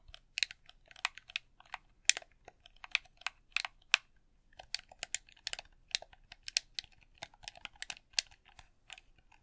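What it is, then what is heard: Plastic game controller buttons. Thumbs and fingertips press, click and tap the buttons of a red hollow plastic game controller. It makes a quick, irregular run of sharp, bright plastic clicks with almost no ring, pausing briefly midway before the tapping resumes.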